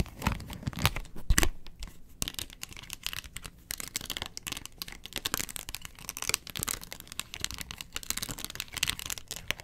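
A round, hollow yellow plastic box lid with a molded pattern is held upright while long nails scratch its ridged face. The result is a dense run of crisp, crackly scratches, bright and rasping, with short dull knocks near the start.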